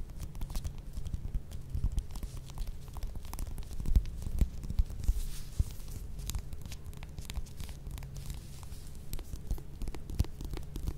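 Long nails scratch and tap the peel of a small, solid whole mandarin orange held in the hands. A steady, close rustling scratch with energy almost entirely in the low range is punctuated by short, sharp taps, with a few louder ones in the middle of the clip.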